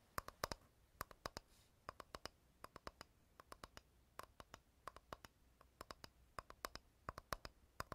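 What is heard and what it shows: A flat, rectangular, light, solid wooden board, held upright close to the recorder, is tapped and scratched with fingernails and fingertips. Quiet, sharp, dry clicks with a hollow tone around 1.1 kHz and bright edges die away almost instantly. They come in quick bursts of two to five, with soft scratching between them.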